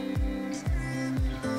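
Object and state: Nothing is struck.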